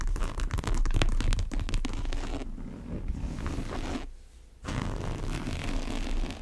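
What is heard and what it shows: Long nails tap and scratch the side and the strap buckle of a large brown monogram coated-canvas tote bag. A dense run of quick, rough scratching taps dominates the first couple of seconds, then eases into softer scraping, drops almost to silence for about half a second, and resumes with steady scratching, all heavy in low, rumbly tones.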